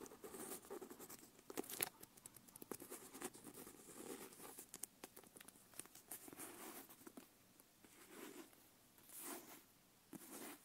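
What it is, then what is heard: Leather-bound notebook. Long nails tap and scratch the cover and elastic strap of a closed brown leather notebook. The result is a quiet, dense stream of quick dry taps and scratchy rustles with a bright, hissy top, almost no low end, and sounds that stop short. The scratching swells into a few brief louder patches toward the end.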